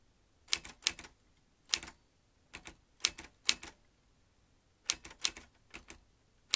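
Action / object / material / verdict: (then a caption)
tap / metal manual typewriter keys / metal / none. Fingertips tap the round keys of a vintage metal manual typewriter, producing bright, sharp clacks in irregular bursts and short runs with quiet pauses between them. Each strike is crisp and dies away almost instantly, with very little low end.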